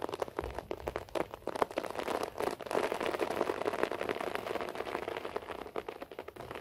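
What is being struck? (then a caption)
Short-pile floor carpet. Fingertips and short nails scratch a beige short-pile floor carpet, making a quiet, dense, crackly rustle of rapid overlapping strokes. The sound sits mostly in the mids with little low end, and it swells and eases without pausing through the clip.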